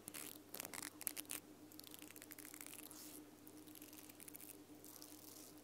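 Long nails scratch and strum the pink nylon bristles of a small plastic mascara spoolie brush on a black plastic wand. Bright, crackly bristle flicks come in quick bursts, loudest in the first second and a half, then settle into a softer, steady rapid scraping over a faint low hum.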